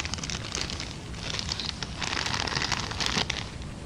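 An empty brown kraft paper bag is scratched and tapped up close with long dark-painted nails, then crumpled in the hands. The result is a steady, dense crinkling and crackling of paper, bright and hissy, growing a little louder and busier in the second half.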